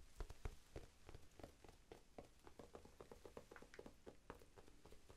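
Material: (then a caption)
Foam. Fingertips tap rapidly on a small, soft, solid rectangular pink foam sponge held in both hands. The result is a quiet, irregular run of about four dull, muffled thuds per second, mostly low in tone with faint brighter clicks, and each tap dies away almost instantly.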